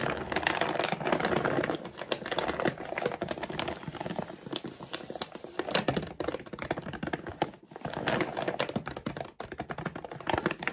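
Fingernails rapidly tap and scratch across the front of a full, laminated plastic dog food bag lying flat. The result is a dense, continuous stream of sharp crinkly clicks and scrapes with short, dry decays and only brief pauses.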